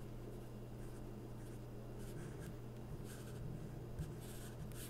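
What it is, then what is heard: Marker drawn across glossy magazine paper. A felt-tip permanent marker rubs across an open glossy paper magazine spread, tracing a second figure while fingertips hold the page. Soft, bright scratchy strokes come in short bursts over a steady low hum, with one slightly louder tap near the end.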